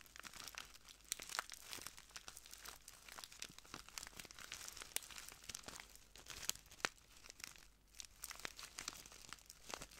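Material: Plastic.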